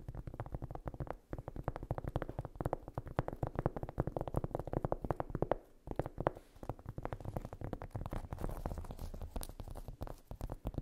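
Long nails tap and scratch rapidly across a large, solid, flat round cork trivet or coaster. The result is a dense, continuous patter of short, dull, low-heavy clicks with a soft scraping texture and almost no bright ring, dipping briefly near the middle before resuming.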